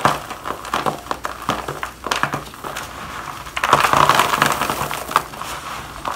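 Gloved hands squeeze and crush dry shavings of bar soap in a black plastic bowl, then let the crumbs pour down. A dense, irregular run of crisp crunching and crackling sits mostly in the midrange, swelling into a louder, grittier stretch near the middle before easing back into lighter crumbling.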